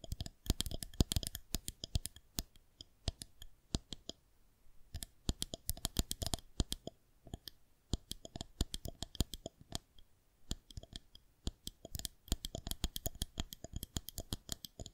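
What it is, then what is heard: Plastic rolling pin. Long nails tap and scratch the underside of a long, solid white plastic rolling pin held horizontally from below. The result is rapid, irregular bursts of sharp, dry clicks with bright, high edges and a soft low thump, separated by brief quiet pauses. Each tap dies away almost instantly.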